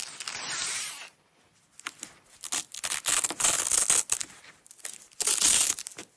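Long nails peel a strip of small red nylon velcro hook-and-loop tape off its roll, which rests on a black surface. Bright, crackling ripping sounds come in bursts: a steady hiss first, then a pause, then a run of louder, uneven tearing rips with short gaps between them.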